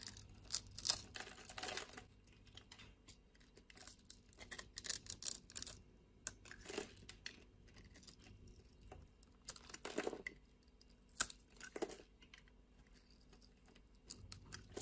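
A metal utility blade shaves and cuts small cubes off the surface of a solid pink bar of soap held in the hand. Crisp, bright scraping strokes and sharp little clicks come in irregular bursts with quiet pauses between them. Each cut is short and dry, with no ring afterward.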